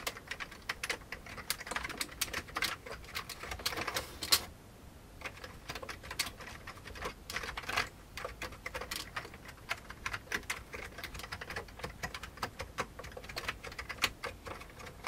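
Fingertips of both hands type on the keycaps of a full-size old beige plastic computer keyboard with a hollow plastic case. It produces a steady stream of quick, bright clacks with a brief pause near the four-second mark.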